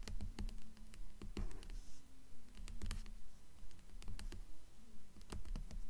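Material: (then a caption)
Paper and board. Long nails tap quickly and somewhat irregularly on the glossy paper dust jacket of a blue hardcover book lying on a stack. The result is a run of soft, dull, low taps with short decays over a quiet background.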